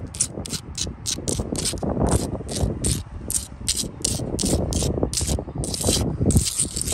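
Long blue acrylic nails scratch quickly back and forth across a solid sandstone block wall with mortar joints. The result is a steady run of short, gritty rasping strokes, each with a bright hissy edge, over a dull low rumble.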